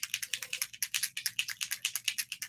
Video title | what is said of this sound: LIVE How To: Airbrush + Bronze Look | I want to shake it until I hear that BB moving freely I can tell it's still a little stuck